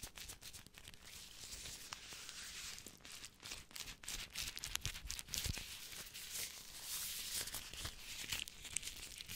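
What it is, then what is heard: Clear vinyl gloves. Thin clear disposable vinyl gloves, worn on both hands, have their gloved fingers and palms rubbed against each other close up. This makes continuous bright crinkling and squeaky rustling with many quick, sharp ticks. The rustle swells and eases in soft waves over about nine seconds.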